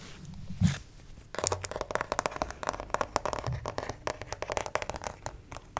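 Fingertips and nails scratch and tap the torso and arm of a white plastic acupuncture model doll, about 50 cm tall and probably hollow PVC, held upright close to the microphone. Soft scratching and a single louder, low knock come first. Then a steady run of quick, dry, hollow-sounding taps and scrapes with bright clicky edges follows, each dying away almost at once.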